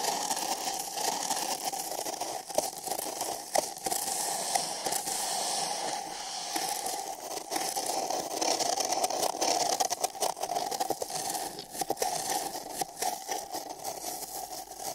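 Fingers with long nails scratch and rub inside the rim of an empty printed paper cup held sideways over the microphone. The result is a steady, dry scraping and crackling with a hollow, boxy ring in the mid range and bright hiss above. Sharper scratches poke out now and then from the continuous rubbing.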